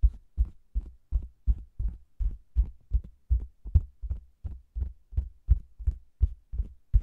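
Fingers tap the lower edge of a round, hollow faux leather cosmetics bag with a microphone inside, then both hands pat and rub its red top. The result is a quick, steady series of deep, muffled thumps with almost no ring, sounding much like a rapid heartbeat.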